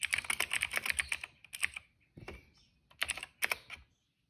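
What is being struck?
Plastic mechanical keyboard.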